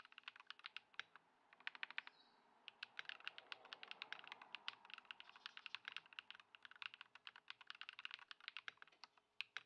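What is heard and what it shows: A compact white Ducky One 2 SF mechanical keyboard with plastic keycaps, modded with Poron foam and swapped to Lumia Matcha switches, is typed on continuously by the fingertips of both hands on a wooden desk. The result is a steady stream of short, bright, clacky keystrokes centered around 2.6 kHz, with no low-end thump and almost no ring after each key. Brief pauses break up the rapid typing.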